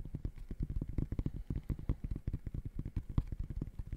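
Fingertips rapidly tap the mesh textile upper of an empty gray high-top sneaker close to the mic. The result is a dense, irregular run of short, muffled thumps that sit mostly in the low end, with almost no ring and no bright content.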